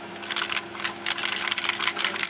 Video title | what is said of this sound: Tape Drive Repair - Tape Cartridge Leader Pin Fix | something's not right in there okay so the leader pin is probably flopping around